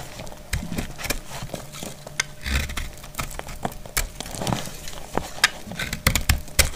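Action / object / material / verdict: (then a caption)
scrape / bar of soap cut with a blade / soap / none. A solid, dried green soap bar held in hand is cut with a metal utility blade into brittle chunks. Many sharp, short crackling snaps and scrapes sound out with bright tops, over a low thumping undertone.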